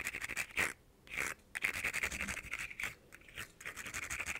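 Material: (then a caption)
Plastic. Fingernails scratch quickly along the ridged segments of a small, hollow, ribbed plastic caterpillar fidget toy with rainbow segments, held in hand. The result is fast, bright, raspy clicking and scraping bursts centered around 2 kHz, broken by a few short pauses.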